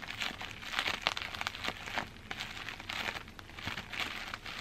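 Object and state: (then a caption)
Plastic bubble wrap. Fingertips and long green-black nails scratch and squeeze crumpled clear plastic bubble wrap held up in the air. The result is a dense, irregular run of bright crinkling and crackling bursts with very little low end, each crackle dying away almost instantly.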